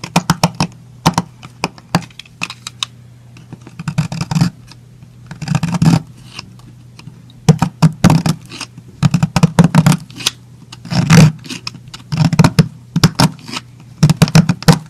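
A yellow utility knife scrapes thin slices off a small, round, solid piece of purple soap held between the fingers. Clusters of short, crisp, dry scraping bursts reach up into the high range, separated by brief pauses, over a steady low hum.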